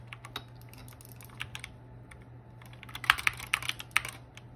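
Fingertips of one hand rapidly press and tap the plastic keys of a compact 60% hollow-cased mechanical keyboard with pink and purple keycaps and RGB lighting, resting on a desk mat. Quick, short, bright clicks and clacks come in an uneven typing rhythm, growing louder and sharper toward the end. A steady low hum sits underneath.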